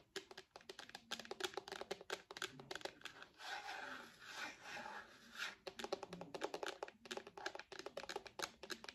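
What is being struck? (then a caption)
Hard plastic tablet case. Long nails tap rapidly on a purple hard plastic case on the back of an iPad, making quick, dry clicks with almost no ring. In the middle the tapping gives way to a softer, continuous scratching across the plastic before the quick tapping resumes.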